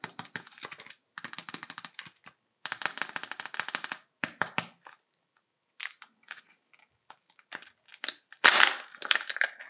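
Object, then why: Small hollow plastic toy egg. Fingertips with medium-length painted nails grip, rub and tap a small hollow red plastic egg-shaped toy capsule painted with a PJ Masks Owlette face, held in both hands. Rapid bursts of sharp, bright plastic clicks come in clusters separated by brief silences. Scattered single taps follow, then a louder crackling burst near the end.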